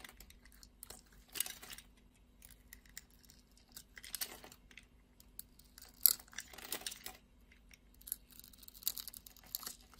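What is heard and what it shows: A steel craft-knife blade scores criss-cross lines into a solid red soap bar held in the palm and scrapes off small soap cubes. Quiet, bright, crisp scratching and crunchy cutting sounds come in short bursts over a faint steady low hum.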